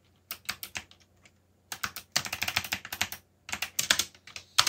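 Fingertips type on a backlit mechanical computer keyboard with plastic keycaps. The result is bursts of sharp, bright key clicks, about 26 distinct strikes, with short pauses between flurries. Each click is short and dry with almost no low end.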